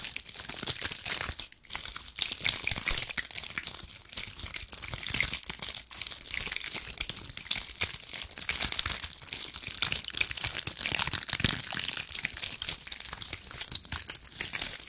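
Long acrylic nails scratch a bundle of small dried pine cones with dry woody scales, held close to the mic. The result is a steady, dense crackle of dry, crinkly scratching, almost entirely bright and high with very little low end, briefly dropping off near the start before continuing.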